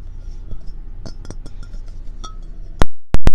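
Long red-painted nails tap and scratch all over a hand-sized, hollow, empty orange and white ceramic mug shaped like a fox. Soft, quiet clicks and scratches with a low hum underneath give way to three loud, sharp, bright taps at the end.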